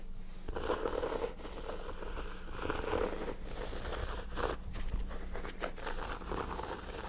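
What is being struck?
Hardcover notebook with embossed cover.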